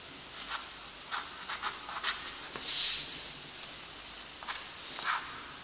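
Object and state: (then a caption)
Graphite stick scratching on drawing paper. A chunky graphite stick held in a gloved hand scratches and rubs across a flat sheet of lined gray-toned drawing paper resting on a surface while writing gothic letters. Short, bright, hissy scraping strokes come in uneven bursts, with a longer, louder rub near the middle, over a quiet background with almost no low end.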